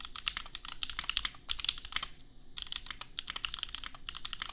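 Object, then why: Plastic mechanical keyboard. A $250 custom 60% mechanical keyboard with Gateron Milky Yellow switches and red and white plastic keycaps, resting on an anime desk mat, is typed on with the bare fingertips of both hands. A quick run of bright, short plastic clacks centered around 3.4 kHz pauses briefly just past the two-second mark, then continues with very little low-end thump.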